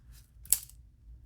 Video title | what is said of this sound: Painting a Perch Crankbait (Beginner Airbrush Lure Painting) | hear that snap in there and it comes back